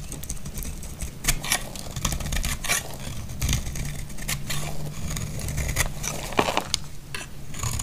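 A solid, dry green bar of soap is held in the hand over a pile of soap shavings while a snap-off knife blade scrapes and slices into it. Sharp, bright scratches and crackling cuts repeat over a steady low rumble, with a few louder snapping crunches near the end.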